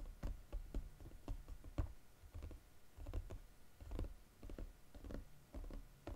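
Fingernails tap and scratch quickly on the glossy gold-coated underside of a flat gold paperboard chocolate box. A rapid, uneven run of short, dull, low taps is heard, with light clicks and soft scratching between them. Each tap dies away almost at once, with no ring.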